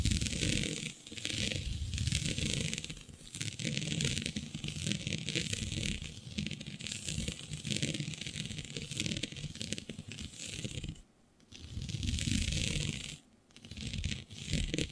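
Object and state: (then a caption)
Stretch fabric scratched with nails. Long nails scratch a flat sheet of black synthetic stretch fabric with a shiny dotted pattern. The result is a near-continuous rasping, crinkly sound that pairs a bright hiss with a low rumble. It falls briefly silent around 11 and 13 seconds.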